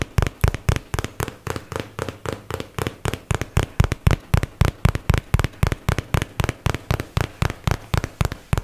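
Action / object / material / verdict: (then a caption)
tap / paperboard box / cardboard / none. A hollow white and teal paperboard product box is held up and tapped with fingertips and nails, about 41 quick taps in a loose, uneven rhythm. Each tap is a short, dry knock with a deep, boomy body and almost no ring.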